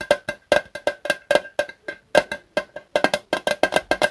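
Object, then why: Small thin-walled metal fluid can. A small Zippo lighter fluid can made of thin, hollow metal, with a red plastic spout cap, is held in both hands and tapped with the fingertips across its sides. About 24 quick, dry taps in an uneven rhythm give a hollow, tinny knock pitched around 600 Hz, with a faint brighter overtone. Each tap dies away almost at once.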